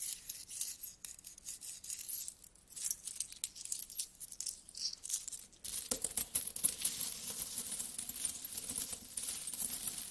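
Flat hands and fingertips with long nails rub and rummage through a large pile of solid metal coins, producing quiet, bright, continuous clinking and rustling. Just before the six-second mark the jingling grows denser and fuller as more of the coins shift together.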